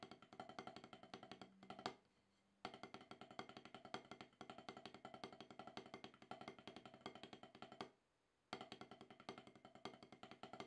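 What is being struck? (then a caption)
Rubber-topped drum practice pad struck with wooden sticks. Wooden drumsticks tap rapid, even strokes on a solid, octagonal rubber-top snare practice pad, played to shake off more than ten years of rust. The taps are short, dry knocks centered around 750 Hz with little ring, and they run in dense streams broken by two brief pauses.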